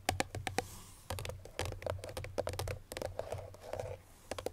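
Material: Cardboard.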